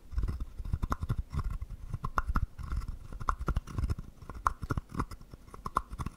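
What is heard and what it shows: A small, hollow, carved wooden frog guiro is held in the hand while a wooden stick scrapes along its ridges. The scrapes come as rapid, ratcheting bursts of dry clicks with a hollow, woody resonance around 1 kHz over soft low thumps. Each click dies away almost at once.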